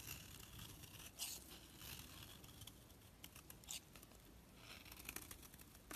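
A knife shaves flakes off a solid orange soap bar held in the hand, carving the bar down. Soft, crisp scraping and crinkly shaving strokes carry a bright, hissy texture over a low, quiet rumble, with a few slightly louder cuts standing out along the way.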